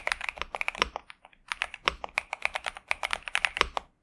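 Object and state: Mechanical keyboard with plastic keycaps.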